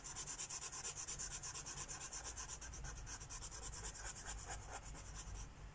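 A felt-tip Sharpie marker held in the fingers is rubbed rapidly back and forth across a thin paper coloring book page lying flat on a wooden table, filling in a mandala. The steady, rhythmic strokes make a bright, scratchy hiss with a soft low rumble beneath. The strokes stop near the end and the sound fades out.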